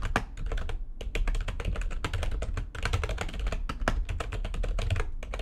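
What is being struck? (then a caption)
Plastic low-profile computer keyboard. Fingertips with long nails type quickly on the keys of a full-size, low-profile, backlit plastic computer keyboard resting on a desk. A dense, steady stream of short clacks and taps comes through, each with a bright click over a heavier low thump, dying away almost instantly, with only a few brief pauses.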